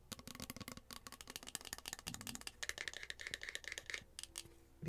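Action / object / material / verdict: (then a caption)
tap / plastic spray bottle / plastic / none. A tall, slim blue plastic body mist bottle, hollow and partly filled with liquid, is held in one hand and tapped rapidly with long acrylic nails. The taps are dry, bright clicks with almost no ring, and a hollow tone near 1.8 kHz rings through the middle of the clip.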